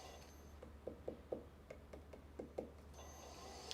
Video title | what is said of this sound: Making Pottery! Live 🔴 Swan City Ceramics Vertical Shorts Livestream | you can kind of hear the difference when you tap on the bottom to see how thick the piece is